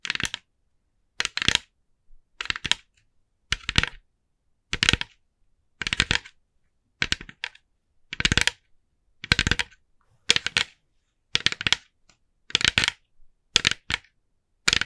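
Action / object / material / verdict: tap / small plastic pumpkin decoration / plastic / none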